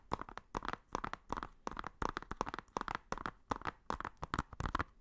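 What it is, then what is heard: Plastic Blu-ray case. Fingernails tap and scratch on the front and spine of a hollow blue plastic Blu-ray case. Quick, soft, dry clicks come in rapid bursts, with a hollow knock centred in the midrange. Each tap dies away almost at once, with brief quiet gaps between the clusters.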